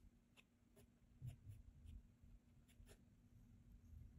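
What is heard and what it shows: A mechanical graphite pencil tip scratches continuous lines across a flat cream paper sketchbook page while drawing. The sound is very quiet and mostly a low, soft rumble, with faint scratchy strokes and brief bright ticks now and then.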